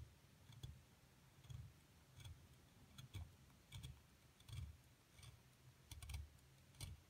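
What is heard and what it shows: A flat metal scraper is dragged across the partly excavated top of a solid plaster block, loosening crumbs. Irregular, short scraping strokes each give a low, dull rub with bright, crackly grit on top, separated by brief quiet pauses.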